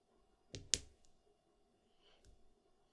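Fingertips push small solid plastic mahjong tiles, white-faced with yellow backs and standing in a row on a green felt table, clicking them against each other while lining them up. Two sharp, bright clicks come close together near the start, followed by a fainter tap later in an otherwise quiet stretch.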